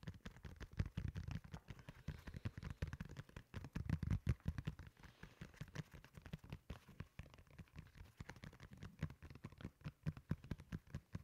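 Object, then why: Molded foam slide sandal. Fingertips tap and scratch the upper and textured sole of a solid, beige molded foam slide sandal. Quick, irregular soft taps mix with light scratching throughout, giving dull, low thuds that die away almost instantly with little brightness.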